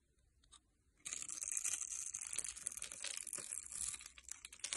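A metal blade cuts a grid into a solid rectangular beige soap bar held in the hand and scrapes off small cubes. After about a second of near silence with one faint tick, a dense, bright, crisp scraping and crumbling begins and continues to the end.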